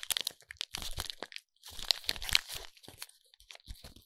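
Fingers squeeze and crinkle the silver foil wrapping of a foil-wrapped soap bar. The result is a bright, irregular run of crackling and crunching with sharp high-pitched crackles, brief pauses, and little low end.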